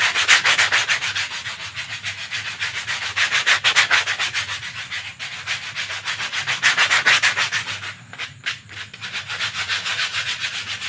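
A rolled lavender paper sheet is rubbed vigorously between the hands and brought close to the camera. It makes a fast, steady run of dry, bright rustling and scraping strokes, about three or four per second, with short gaps near the end.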